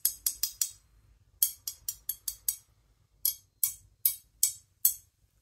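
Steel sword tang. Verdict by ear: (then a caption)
Sound. The steel tang (nakago) of a 400-year-old wakizashi blade is struck 15 times in three quick bursts, each tap a bright, high metallic tick that rings only briefly. The slight resonance means the tang is uncracked and the blade is good; a hollow sound would mean a crack, and the blade could not be used for cutting.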